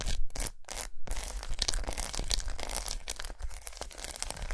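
Long nails scratch and tap a large unwrapped solid milk chocolate bar with raised squares resting on a towel. A few quick bright scraping bursts open the clip, then give way to a dense, irregular run of crisp scratches and light taps over a steady low rumble.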